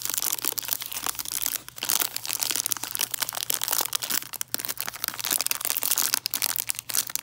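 Long nails scratch and crinkle the cellophane wrapping of a peppermint hard candy tree, making a dense, bright run of crackling and rustling. Quick sharp crinkles come and go in bursts throughout.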